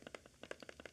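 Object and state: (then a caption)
Rattly kit zoom lens. A Lumix 20-60mm kit zoom lens is shaken by hand, giving quick, light rattling clicks from inside the barrel. The lens rattles a little and feels cheaper than the more solid 14-28mm lens.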